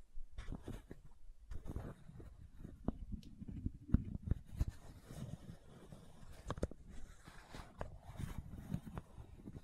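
Long nails scratch the white plastic cap of a supplement bottle, producing quiet, low, rumbling scraping. Sharp clicks and ticks punctuate the scraping as the nails catch the cap.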